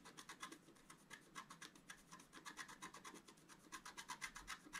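A wooden stylus scratches dense strokes across a thin, solid, flat black-coated scratch-art paper sheet held by one hand. It makes a quiet, steady run of short, dry rasping scrapes, about four per second, bright and hissy and centered around 2 kHz, with almost no low end.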